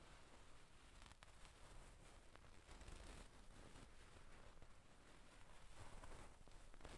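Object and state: Satin damask pillow.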